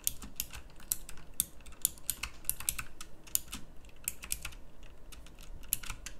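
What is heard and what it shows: Fingertips with long nails type on a pink backlit mechanical keyboard with round plastic keycaps. A steady, quick run of sharp, bright clicky keystrokes sounds over a low, constant hum, each click dying away almost instantly.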